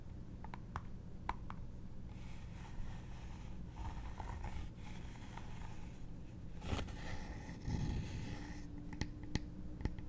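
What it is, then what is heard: Small embossed wooden box. Long nails tap and scratch the textured lid of a small, hollow embossed wooden trinket box held in the hand. Quiet, dry scratching runs under a low rumble, punctuated by short, sharp taps that click brightly and stop almost at once.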